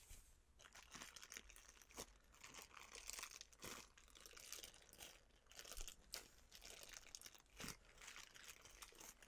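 Fingertips with long painted nails squeeze and crinkle a clear plastic cellophane bag filled with dark dried food and tied at the top. The result is a steady stream of dense, bright crackling and crinkling with sharper crunchy bursts, all at a soft, close level with almost no ring after each sound.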